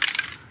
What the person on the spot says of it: you can hear the ball that's inside the container